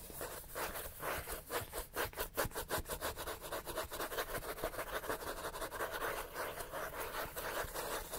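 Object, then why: Paperback book with paper cover. Fingernails of both hands quickly scratch the paper cover of a thick, solid paperback book. The result is a steady run of fast, rasping strokes with a dry, papery texture. The strokes pulse rapidly and evenly throughout, centered in the midrange with bright hiss on top.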